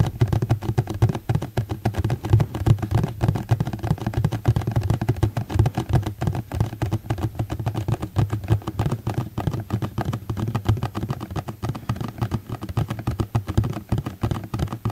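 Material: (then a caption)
Plastic. A medium rectangular black ribbed plastic food tray, hollow and empty, is held in both hands and tapped with fingertips and nails. A rapid, continuous patter of soft, dull taps sounds hollow and low, each dying away almost at once.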